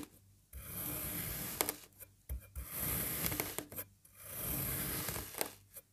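A serrated knife presses down through a green kinetic sand puzzle block that is already cut into strips, cross-cutting it into cubes. Each stroke gives a soft, gritty rasping crunch with a bright hissy edge and a low rumble underneath, with brief quiet gaps between the cuts.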